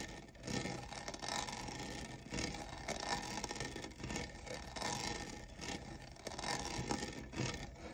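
Fingernails scratch and rub the diamond-textured sides of a hollow lavender plastic cold cup. A steady, dry rasping scrape fills the clip, swelling in short bright bursts as the nails drag across the raised texture.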